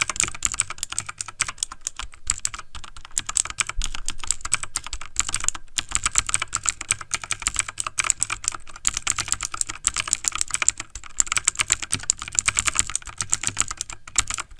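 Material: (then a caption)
Plastic. The fingertips of both hands type fast on a backlit plastic mechanical computer keyboard. It makes a steady stream of rapid, sharp, bright key clicks with almost no ring. The clatter runs without pause for the whole clip.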